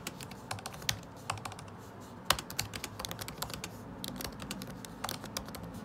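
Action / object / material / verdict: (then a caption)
tap / plastic laptop keycaps in a metal body / plastic / none. Fingertips type continuously on a MacBook Pro butterfly keyboard with plastic keycaps set in an aluminum body. Quick, crisp, bright clicks follow one another at an uneven pace, each dying away almost instantly. A few taps land noticeably harder, over a faint steady low background.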